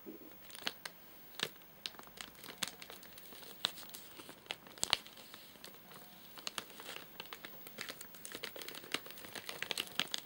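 Fingertips and short nails tap and scratch the top of a flat, sealed white plastic/paper-laminate nougat bar package with crimped edges, full of nougat bars and lying on a sofa. The result is quiet, bright crinkling and scratching, broken by many sharp, short taps and clicks.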